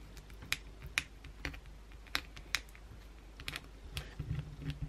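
A solid white oval bar of soap, held in the hand, is scratched with long pointed blue acrylic nails. Thirteen short, dry, bright clicks and scrapes come in an uneven rhythm, each dying away almost instantly. A low, steady hum sits underneath.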